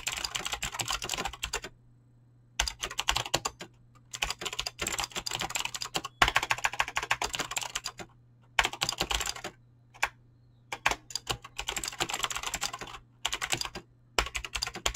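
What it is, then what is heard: Mechanical keyboard with PBT keycaps. Fingertips type fast on a Razer BlackWidow mechanical keyboard with clicky green switches and pink-blue dyed PBT plastic keycaps. Bursts of rapid, bright clicky keystrokes are broken by short silent pauses, over a faint low steady hum.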